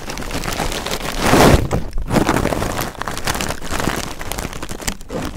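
Two pencil microphones press and push into a light, loose pile of red crinkle-cut shredded paper packing filler, producing a continuous dense rustling crinkle. The crackling swells to its loudest about a second and a half in, then settles into steady, uneven rustling with brief lulls.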